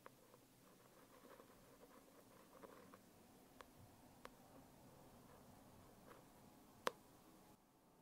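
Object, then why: Foil-covered hardcover notebook. A long nail taps and scratches the embossed lettering on the cover of a closed holographic foil hardcover notebook. Quiet, steady scratching and soft patter run throughout, broken by four sharp, bright taps, the loudest near the end. The sound then drops to near silence.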